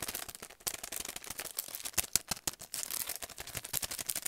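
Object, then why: Paintbrush set in plastic sleeve on cardboard backing. A long, narrow paintbrush set in a clear plastic sleeve on a printed cardboard backing is held in both hands and worked with fingertips and nails. Rapid, dense crinkling and sharp tapping produce bright, crackly clicks with almost no low end. Each click dies away instantly, in an uneven, fast rhythm.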